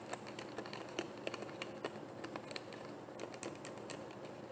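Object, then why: Plastic bottle with cap. Long painted nails tap on a frosted white plastic bottle with a black cap that looks hollow and partly filled. Quick, dry clicks and taps patter unevenly over a soft hiss, bright and crisp with no ring after each strike.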